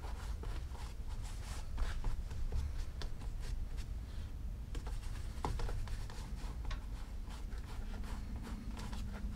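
Fingertips wrapped in a cloth rub small circles over a hollow black pebbled-leather Gucci loafer mounted on a shoe stand, working in polish. The result is a soft, steady scuffing and rubbing with a low, dull body and brief bright, scratchy streaks as the cloth drags across the leather.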